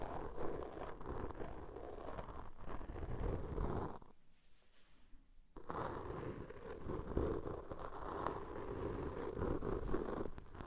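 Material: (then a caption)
Foam. A cotton swab tip, held in fingers with long nails, pokes and rubs the black foam windscreen on the left microphone. The result is a dense, crunchy scratching and rustling, heavy in the low end, that stops for a quiet gap of about a second and a half before resuming.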